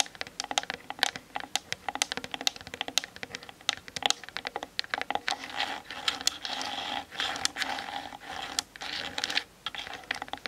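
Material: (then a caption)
Plastic. Long nails tap rapidly on the sides of a Canon DSLR's plastic camera body, making a fast stream of sharp, bright clicks with no ring. Through the middle of the clip, steady scratchy rubbing runs under the taps before the quick tapping takes over again.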